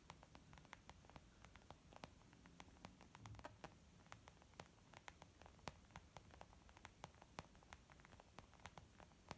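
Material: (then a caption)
Leather. Long almond-shaped nails tap on a small white textured leather zip makeup bag lying flat, soft and hollow. Quick, light, bright ticking taps come in an irregular, steady patter over a quiet, hissy low background. Each tap is dry and dies away at once.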